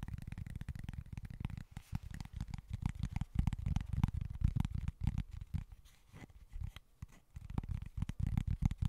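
Fingernails scratch across the surface of a small, flat cork board in quick, continuous strokes. The result is a dense, low, rumbling scratch with short rough bursts that briefly grows quieter before building up again.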